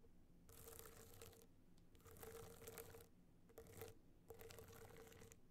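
Long nails scratch the studded surface of a gold rhinestone-studded hard-shell clutch tilted on fur. Four bursts of dry, crackly scraping with a faint tone near 500 Hz come with short quiet gaps between them.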